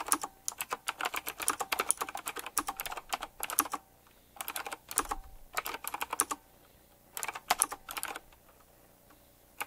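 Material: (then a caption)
Plastic. Fingertips type on a black retro typewriter-style mechanical keyboard, tapping its round plastic keycaps with metal rims. Bursts of crisp, bright clicky keystrokes run fast and steady, broken by short pauses around four and seven seconds. Each key snap is sharp and dies away almost instantly.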